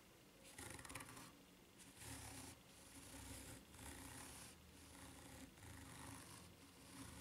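Long nails scratch slowly along the ridges of a white rubber flip-flop sole held bottom-up and tilted. Raspy, bright scratching strokes come in repeated bursts over a low hum.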